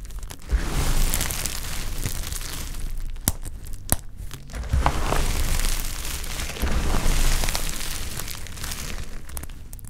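Two hands with pink-painted nails rub, grab and crush a large pile of small, dry, brittle olive-green soap chips and shavings on a tiled surface. The result is a steady dense crunching and crumbling with a heavy low rumble, a few sharp clicks near the middle, and louder bursts of crushing toward the end.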